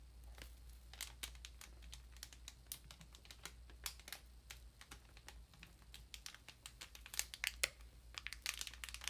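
Long nails on both hands tap the plastic wrap of a large, solid paper ream, producing quiet, quick, bright clicks mixed with soft crinkling. The taps come in an uneven, steady stream over a low, constant hum.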